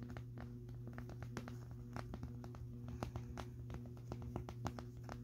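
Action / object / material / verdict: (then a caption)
tap / plastic vacuum dust bin / plastic / none. Fingertips and nails tap and rub the side of a clear plastic cylindrical vacuum dust canister with a purple base, filled to the full line with grey dust and colorful debris. Many quick, dry, clicking taps ring out over a steady low hum, each dying away almost instantly.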